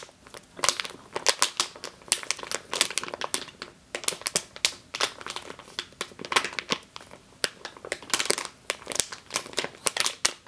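Long green-nailed fingers crinkle and squeeze a medium clear plastic bag with a yellow label, full of flour or grain. Dense bursts of bright, crackly crinkling rise and fall in quick clusters, each crackle stopping almost at once, with very little low end.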